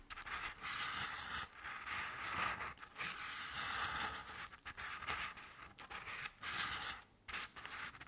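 Long decorated nails scratch along the ridges of crinkled orange crepe paper covering a medium-sized round decorative jack-o'-lantern with black paper face cut-outs. The result is a series of soft, dry, papery scraping strokes with a bright, hissy texture centered around 1.5 kHz, separated by brief pauses.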